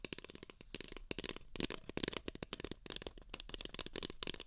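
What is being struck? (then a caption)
Paper cup. Two identical empty beige paper cups, hollow, are tapped with fingertips and nails in a quick, uneven series of soft, dry taps. Each tap is a short hollow knock with a bright clicky edge from the nails, dying away almost instantly with no ring. The sound stays quiet throughout.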